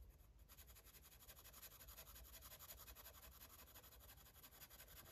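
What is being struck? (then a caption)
Felt-tip marker on a paper coloring page. A grey-barrel felt-tip marker rubs and scratches over the page of an open paper coloring book lying flat on a table while coloring. Quiet, rapid back-and-forth scratchy strokes run continuously with a bright papery hiss over a faint low hum.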